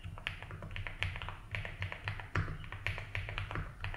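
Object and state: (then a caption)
Plastic mechanical keyboard. Fingertips tap the ABS keycaps of a 75% mechanical keyboard in a light blue plastic case, typing at a steady, unhurried pace. Each keystroke is a short, dry clack with a bright click that dies away almost at once, some strokes landing harder than others. A low steady hum and a faint high whine sit underneath.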